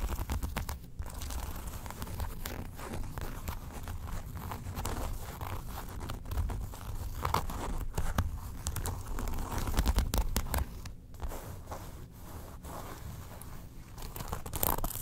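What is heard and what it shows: Long nails scratch the card slots and inner flap of an open brown faux leather wallet. The result is a steady, irregular run of dry, crinkly scratching and rasping with short bright crackles, over a low rumbling bed. There are a few louder bursts along the way.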